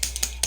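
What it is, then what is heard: Mixing ball rattling inside a liquid lipstick tube. A brand-new, still-sealed LipSense Milk Rose liquid lip color tube is shaken, producing sharp, bright clicks from a mixing ball inside that blends the color so it is wearable. The clicks are short and high-pitched with a faint low hum underneath, which is normal for this tube.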